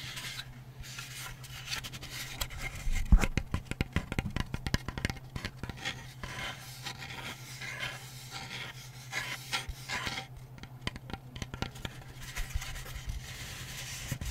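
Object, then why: Flat painted wooden back panel of a small lamp. Long painted fingernails scratch and rub across the flat, dark grey back panel of a hand-sized, layered wooden butterfly lamp branded Hi Park. Dry, rasping scrapes mix with quick clicking ticks, with a louder burst of scratching near the three-second mark. A steady low hum runs underneath throughout.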